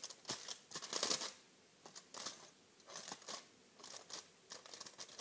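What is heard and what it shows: A crumpled silver aluminum foil pouch is held up and squeezed and crinkled with the fingertips. The result is a series of bright, crackling bursts of crinkling, with quiet pauses between them.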